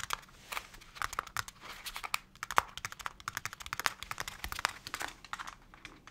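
Fingertips tap a small translucent plastic pot holding a young potted plant, held in both hands, with perhaps a slight rustle of the leaves. The result is a rapid, irregular run of light, dry plastic clicks with a bright, crinkly edge, almost no low end and no ring after each tap.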